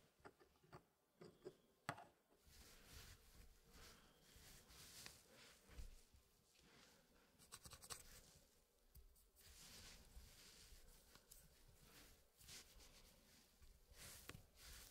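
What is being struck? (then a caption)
Wooden puzzle pieces in a wooden frame. Gloved fingertips shift and push the solid wooden pieces of a small square Elegance wooden packing puzzle against each other and its hardwood tray frame. The result is quiet, dry scratching and sliding broken by sharp wooden clicks.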